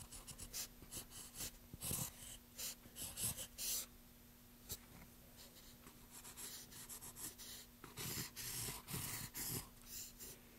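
A pencil scratches in repeated strokes across the bare surface of a pale, solid light wooden plank. Short, bright, raspy bursts come in quick clusters with brief quiet gaps, over a faint steady low hum.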